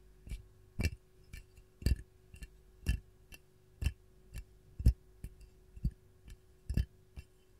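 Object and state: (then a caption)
Ceramic canister tapped with nails. Long gold nails tap the body of a hollow, glazed white ceramic canister with a lemon print. Fourteen short, dull clicks come at an uneven pace, about one per second, with some louder than others. Each tap carries a low thud and a faint bright edge.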